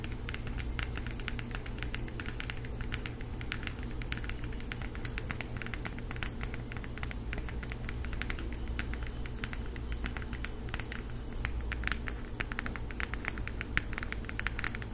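Long acrylic nails tap and scratch the printed cover of a flat cardboard eyeshadow palette held close in both hands. Quick, dense clicks and short scratchy strokes patter continuously over a low, steady hum. The level stays fairly even throughout, with a few slightly sharper taps near the end.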